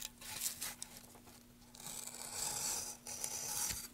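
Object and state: Wooden plank being carved.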